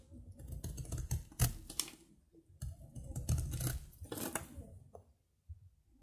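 A metal knife cuts crumbly flakes off a thin, solid stick of dry soap held in the fingers. Irregular crunchy scrapes come in two bursts separated by a short pause, with dull low thuds under bright, crackly grit. The cuts fade to faint, scattered taps at the end.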